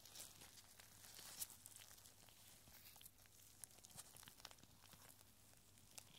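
A small clear glass bottle with a cork stopper, full of tiny rolled paper scrolls tied with red thread, is held in purple nitrile-gloved hands and tilted and shaken. The scrolls rattle and slide inside with quiet, bright papery crinkles and clicks. A few sharper taps stand out over a steady hiss.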